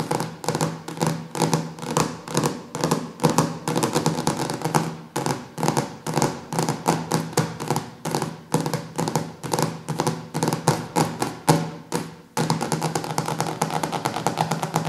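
Fingertips and nails tap rapidly and unevenly on the glossy laminated cover of a large, solid hardcover cookbook resting on a wooden table. The taps are short and dry, with a steady low hum beneath them. Near the end, the tapping becomes a denser, continuous patter.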